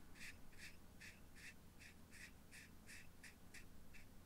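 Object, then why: Small clear acrylic box with contents. A fingertip and nail tap and rub the lid of a small hollow clear plastic or acrylic cube, partly filled with purple material and held in one hand. A steady series of short, bright clicks centered around 2.5 kHz repeats at an even pace over a constant low background rumble.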